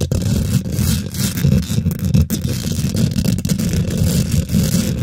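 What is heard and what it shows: Fingernails scratch quickly across a hollow steel wire-mesh microphone head, making a dense, continuous rough scraping. The sound is mostly a deep, boomy rumble centered low, with faint bright scratchy streaks riding on top. The level stays steady for the whole clip, with only brief dips between strokes.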